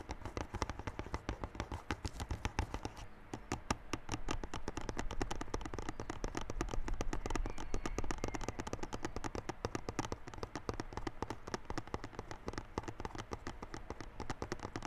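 Fingertips and nails rapidly tap and scratch the top of a small, hollow, yellow cardboard Realme Buds Classic box sealed in clear plastic film, lying on a white table. The sound is a dense, continuous stream of short, dry taps, with a low hollow thump under crisp, bright clicks and crinkly scratching. The taps stop dead with no ring.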